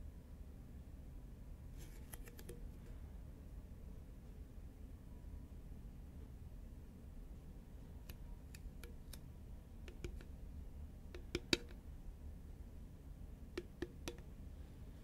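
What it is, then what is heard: Paperboard chip can tapped with fingernails. A medium-size, hollow green Pringles composite paperboard chip can is held upright and then tilted while long nails tap on it. Quiet, sharp, bright clicking taps come in small scattered clusters with very short decay. They sit over a steady low-pitched background hum.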